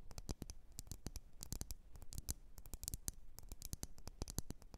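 Long nails scratch and tap the sides of a lit, wax-filled red glass candle jar. A rapid, uneven run of short, dry clicks and scratches spreads from low thumps to bright edges, with each tap dying away almost instantly and no ringing.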